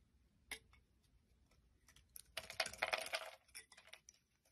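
A utility knife blade scrapes and shaves curls off a solid white rectangular bar of soap with embossed lettering, held in the palm. A single sharp, bright scrape stands out early, then a dense burst of crisp, crackling shaving strokes follows. A few lighter scrapes trail off at the end.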